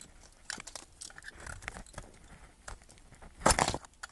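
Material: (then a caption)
Soap. A metal knife blade carves a solid yellow bar of soap held in the fingers, cutting off chunks and curls. Soft, crisp scraping and crunching cuts come in quick, scattered strokes, with a louder, brighter burst of cuts near the end.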